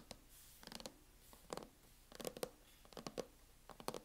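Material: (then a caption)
Plastic. Long acrylic nails tap rapidly on the lid of a closed MacBook in a teal matte plastic hard-shell case, a thin hollow shell. Quiet, dry clicking taps come in quick, irregular bursts, each with a hollow knock near 500 Hz and a bright click that stops almost instantly.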